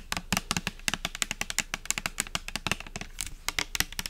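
Long nails tap fast on a pink translucent plastic pump soap bottle with liquid inside. The rapid, crisp clicks are bright and dry, each dying away almost at once. About 29 separate taps are heard in quick, uneven succession.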